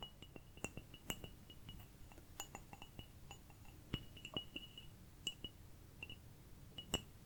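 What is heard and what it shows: A small ceramic cup is tapped repeatedly with quick, light, irregular taps. Each tap gives a short, bright, chime-like clink with a thin ringing tone around 3 kHz, over a soft low rumble. The whole clip stays quiet.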